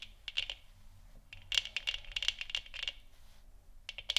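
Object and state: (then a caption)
Plastic moon lamp tapped with nails. Long nails tap the top and sides of a large, hollow, 3D-printed plastic moon lamp sphere that glows orange. The taps are quick, bright, and clicky, with almost no ring, and land in rapid clusters separated by short quiet gaps.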